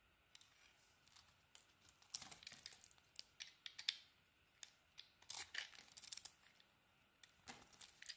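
A metal blade shaves chunks off a solid bar of pink soap in a series of quiet, crisp cutting and scraping strokes. The strokes come in irregular clusters of bright, dry crackles with almost no low end, and each one stops short with no ring.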